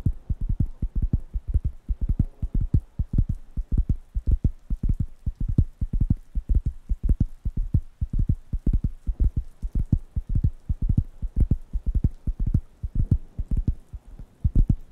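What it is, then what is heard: Wooden coaster pad. Fingertips tap and scratch the surface of a large, thin, round, light-brown wooden coaster pad, solid and flat, held in one hand near the microphones. The result is a steady stream of quick, irregular, dull, low thumps with very short decay and faint scratchy texture between them.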